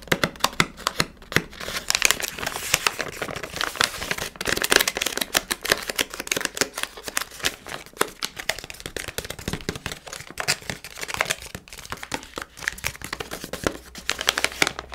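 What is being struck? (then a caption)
Plastic confectionery bag. A hand-sized printed plastic Milkybar sweet packet, with its contents inside, is crinkled, scratched and squeezed by fingertips and nails. The result is a steady stream of bright, crisp crackling and scratching, dense with short rustling bursts and little low end.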